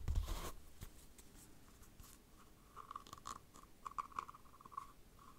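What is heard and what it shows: Long dark nails scratch and tap the side of a small, hollow, empty cylindrical dice cup covered in textured map-print faux leather, held in the hand. A louder muffled rustle and thump opens the clip, followed by soft scratching and a series of light, dry taps with a faint mid-pitched ring.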